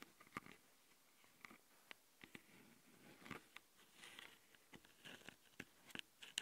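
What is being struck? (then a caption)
Metal mesh microphone grille on a handheld recorder. A long glitter nail on one hand scratches the left metal mesh-grilled microphone capsule of a small Tascam handheld recorder with a plastic body. The result is a quiet series of sharp, bright scratching clicks and crackles, each dying away almost instantly, with brief hissy rubs between them over a soft background.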